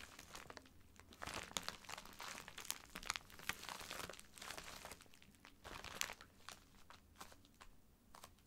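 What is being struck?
Filled plastic poly mailer bag.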